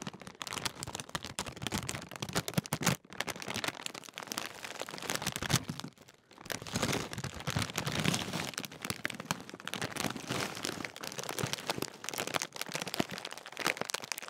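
A large Walkers sharing-size crisp bag made of metallised plastic film, apparently sealed and filled with crisps, is held in both hands and crinkled and squeezed with fingertips. The result is continuous bright, crackling crinkles and crunches, with brief pauses near 3 and 6 seconds.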